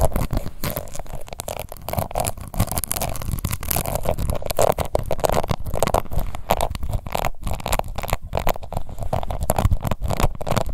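Long white nails on both hands scratch a small, round, pink plastic face powder compact with a glittery embossed lid and a hollow case. The result is a dense, continuous run of rapid, dry scratching and tapping with a low, hollow rumble underneath, steady in level for the whole clip.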